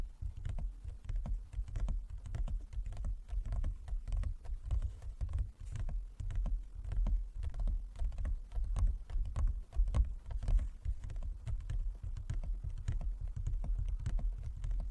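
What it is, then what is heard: Hollow wooden folding chess board. Fingertips and nails of both hands tap rapidly on a large, closed, hollow wooden folding chess board. The taps come in a dense, uneven patter with a deep, low thump and short, dry clicks that die away almost instantly.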